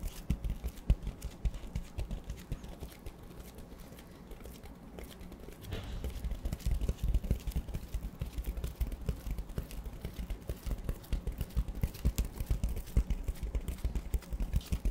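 A large, solid black porous foam sponge is held upright close to the microphone and rubbed and tapped with fingertips. The result is a dense, muffled patter of soft, low thumps with almost no brightness, quieter for a stretch in the first half and then fuller and steadier through the rest.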